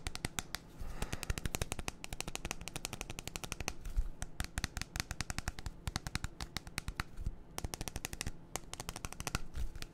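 A clear, hand-sized plastic baby bottle with a white nipple cap, hollow and mostly empty, is held in one hand and tapped rapidly with the fingertips along its sides. Dozens of quick, crisp clicks come in uneven bursts over a low hollow thump. Each tap dies away almost instantly, giving a dry, crackling patter.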